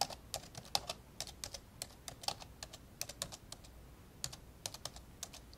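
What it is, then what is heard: Plastic laptop keyboard being typed on. Fingertips of both hands tap repeatedly on the hollow built-in keyboard of an old 1990s black plastic laptop lying open on a blue carpet. About 26 short, dry keystrokes sound in an uneven typing rhythm. Each is a bright, clicky plastic tap with little low end that dies away almost at once.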